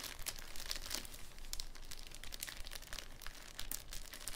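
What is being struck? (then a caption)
Thin cellophane sheet. A thin clear cellophane sheet is pressed flat with fingers on a wooden table, then lifted and crinkled. The result is a steady, irregular stream of bright, sharp crackles and crinkles over a soft low rumble.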